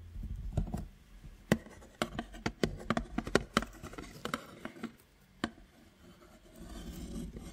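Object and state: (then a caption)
Cardboard box. Fingertips tap and scratch the flat sides and edges of a hollow, medium-sized printed cardboard belVita biscuit box held in one hand close to the mic. Irregular short, dry taps with hollow low thumps are heard, mixed with soft scratchy rustling. A quieter gap comes just after the five-second mark, and the clip ends with a steady, gentle scraping.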